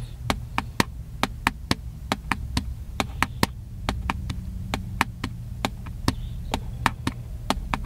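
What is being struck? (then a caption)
Plastic handheld camcorder. A small, hollow, black plastic handheld camcorder is held in both hands and tapped with the fingertips, giving 27 short, dry clicks with almost no ring. The taps are bright and sharp and come at a steady, fairly quick pace over a low, constant hum.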